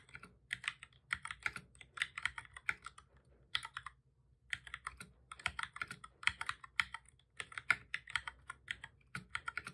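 Both hands type steadily with their fingertips on a full-size black plastic keyboard with a hollow body, resting on a desk. The result is rapid, dry key taps with bright clicky tops that die away almost at once. Bursts of typing break off in a brief pause near the middle, then resume.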